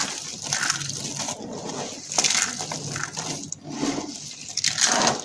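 Pink and cream dry soap curls are crushed between fingertips and long dark nails into small flakes on a mat. Bright, dry crunching and crackling come in dense bursts, with sharper snaps standing out over a light rustle. The curls break down into small flakes.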